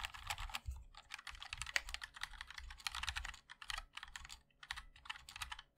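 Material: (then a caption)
Plastic, metal. Fingertips of both hands type continuously on a MOD-L 60% mechanical keyboard with a black aluminium case, white and black ABS keycaps and linear switches. The result is a fast, uneven stream of crisp, bright clacks over a soft low thud, with each keystroke dying away almost instantly and brief pauses between bursts.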